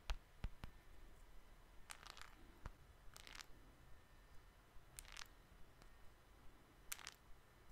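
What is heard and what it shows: Fingertips and nails tap on the surface of a small, flat, solid glass-and-metal smartphone held in the other hand. Quiet, sharp, dry taps and brief bright clicking bursts come one after another over a faint low hum, each dying away almost instantly.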